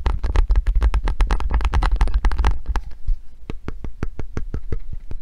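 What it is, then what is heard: Hand gripper with metal spring and foam handles. A hand gripper with pink foam handles and a metal spring, held close, is tapped on the spring with fingernails and then scratched along its ridged pink foam handle. The first half is a dense run of rapid, crisp clicks over a heavy low rumble, which thins into sparser, sharp, bright taps with very short ring.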